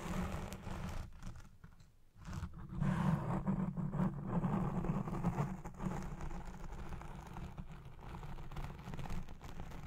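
Long red-painted nails scratch a black foam windscreen on a Blue Yeti Pro microphone near its base and side. The result is a dense, muffled, crunchy rasping that sits almost entirely in the low range, briefly dipping near two seconds before growing loudest in the middle of the clip.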